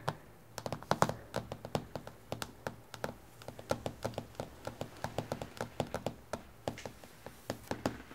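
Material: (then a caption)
Glass. Both hands tap on a solid, flat, reflective dark glass tabletop with long painted fingernails, sometimes with the fingertips too. A steady, uneven run of about forty crisp, short clicks that stop almost instantly, over a faint low hum.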